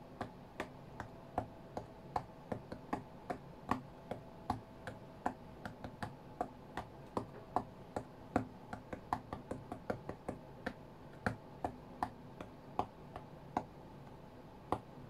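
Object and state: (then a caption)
Glass tablet touchscreen. Fingertips and short nails of both hands tap quickly on the glass touchscreen of an iPad lying flat on a cutting mat, as in a rhythm game. About 42 short, dry clicks come in an uneven, fast pattern over a soft steady hiss. Each tap is crisp and bright and dies away almost instantly.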